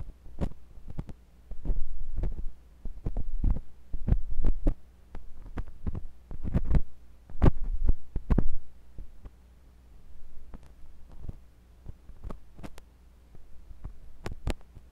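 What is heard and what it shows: A thin metal pointed sculpting tool with a wooden handle, held by fingers with long pink nails, scratches and pokes inside the ear canal of a white silicone ear on a block-shaped binaural microphone. The result is a string of short, sharp clicks and scrapes over a low, steady hum. Thick, muffled rumbling bursts swell and fade between them.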